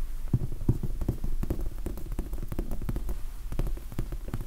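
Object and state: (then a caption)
Foam sponge die, soft. Fingertips tap and scratch on the surface of a large red foam sponge die, soft and solid. The hits are short, dull thumps that are deep and muffled, with almost nothing bright. They come in a quick, uneven patter with faint scratching between them.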